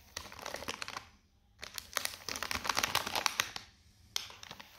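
Fingertips press and rub a small, sealed, metallised plastic Seabrook beef-flavour crisp bag, full of crisps and lying flat on a white table. Bright, dense crinkling and crackling comes in three bursts separated by short quiet pauses, with the middle burst the longest and loudest.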